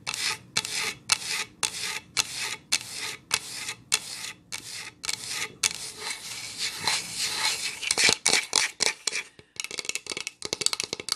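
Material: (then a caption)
Wood. A solid wood board made of two planks with a visible seam, held upright, is scratched along the grain with long acrylic nails. Bright, dry raspy strokes repeat in a steady rhythm, then give way to a longer continuous rub and a quicker run of short scratches at the end.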